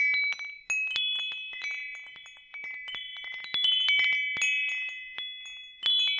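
A hanging wind chime with hollow metal tubes and a wooden top is held up and shaken while fingers tap the tubes. Bright, high, overlapping metallic tones ring out in clustered bursts, with sustained shimmering notes that decay slowly between new strikes.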